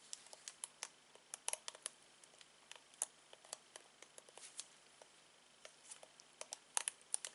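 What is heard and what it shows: Latex-gloved fingertips repeatedly strum and scratch the tips of multicolored plastic bristles on a black plastic hairbrush. The result is about 28 quiet, bright, dry crackling ticks and scratches in an irregular pattern over a soft background hiss, each dying away instantly.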